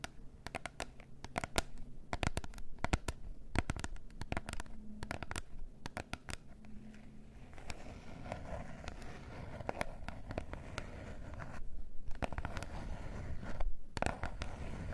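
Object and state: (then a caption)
Cardboard box scratched and tapped. Long nails tap and scratch the surface of a small glossy gold cardboard face mask box with a pink band. Quick, dry clicks come in irregular bursts over a soft, crackly scratching rasp. The sound is mostly low in weight, and each tap dies away almost instantly.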